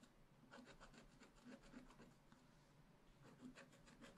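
A wooden stylus scratches the black wax coating of a scratch-art page in a spiral-bound pad, working around a raccoon drawing and along the page edge. Quick, rhythmic, dry scraping strokes come in two quiet bursts with a brief lull between them, each stroke a soft, papery rasp with a bright edge.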